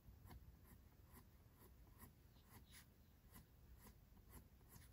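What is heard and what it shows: A mechanical pencil tip makes continuous small drawing strokes on the white paper page of a spiral sketchbook resting on a desk. It produces quiet, repeated scratchy strokes with faint bright edges over a low background rumble.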